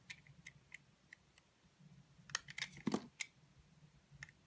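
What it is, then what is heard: Bar of soap being cut. A utility knife blade slices and scrapes the black coating off a solid, dry white soap bar. Quiet, crisp, bright clicks and scrapes come at an uneven pace over a low hum, with a denser, louder run of cuts near the middle of the clip.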